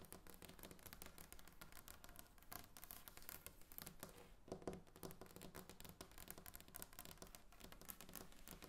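Long nails tap rapidly and continuously on a large, solid tabletop of glossy varnished wood. The taps come as quiet, dense, crisp clicks with bright edges over a low, woody body, each one dying away almost instantly.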